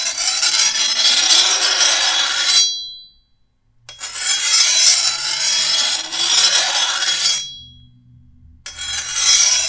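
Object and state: Steel machete blade being filed.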